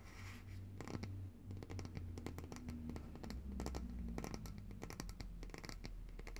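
Long nails tap and scratch the glass sides and label of a large glass jar of coconut oil, full of white solid oil and held upright in both hands. Quick, dry clicks and bright scratching strokes come in a dense, continuous run over a steady low hum.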